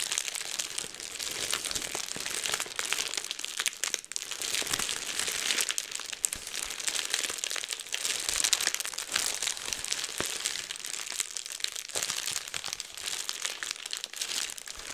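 A clear plastic bubble wrap sheet is held in both hands while fingers pop the bubbles and crinkle the sheet. The result is a continuous stream of bright, dry crackles and sharp little pops with almost no low end and no ring after each snap.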